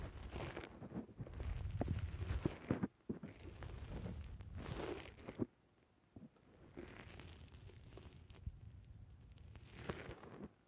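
Fingertips press and squish the top and side of a black rounded foam windscreen on a microphone. Close, muffled crunching and crinkling squishes come in dense, uneven bursts, heavy in low rumble with little brightness. There are brief near-silent pauses around three seconds and between about five and a half and six and a half seconds.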